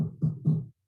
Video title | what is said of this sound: Resonance of Rye: Sourdough Rye Baking Workshop with Jeffrey Hamelman | It sounds hollow-ish.